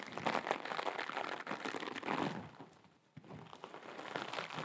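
A hand-sized blue sparkly mesh scrub sponge is scratched and crinkled with long acrylic nails. The result is dense, crackling, crinkly rustling in rapid bursts, with a brief quiet dip near the three-second mark before the scratching resumes.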